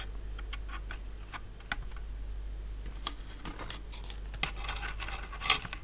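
Fingertips and short nails tap and rub along the sides and deck of an empty, medium-sized hollow sailboat hull made of light laser-cut plywood, resting on a fabric mat. The result is dry, bright, scratchy clicks and brushing rubs with very short decay over a steady low hum, with one sharper, louder tap near the end.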